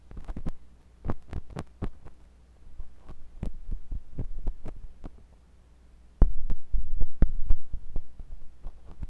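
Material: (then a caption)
Silicone. A thin metal pointed sculpting tool with a wooden handle, held by fingers with long pink nails, scratches and pokes inside the ear canal of a white silicone ear on a block-shaped binaural microphone. Short, dry, close-up scrapes and taps land irregularly over a steady low hum. The clip grows louder after about six seconds.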